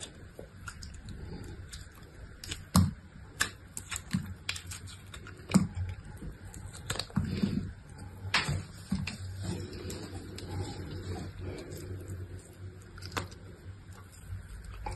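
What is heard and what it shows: A box-cutter blade shaves and scrapes layers off a solid block of dry soap with a speckled grey/blue interior, held in the hand. Short, dry cutting and scratching strokes come at an uneven pace over a low, steady background, with a few sharper, louder scrapes standing out.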